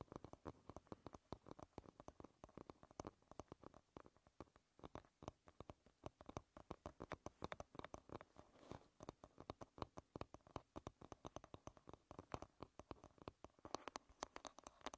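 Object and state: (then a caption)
Wooden hairbrush. Fingernails tap rapidly on the wooden rim and back of a wooden hairbrush, seen from the side. The result is a dense, uneven stream of short, dry clicks with a woody midrange knock and almost no ring, continuing steadily throughout.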